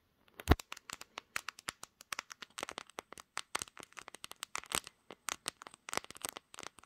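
Long green nails tap and scratch the hard, glossy glass back of a pink smartphone, seen in a mirror. A rapid, uneven series of sharp, dry clicks and brief scratches follows, opening with one louder tap near the start. Each click is bright and dies away almost instantly.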